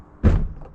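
The door of a Toyota Supra MK4 is shut with a deep, solid thud, followed by a faint second knock as it settles. The sound is low and dense, with almost no high end and a short decay. It does not sound hollow and holds up well for its era, with the factory testing door openings and closings a million times.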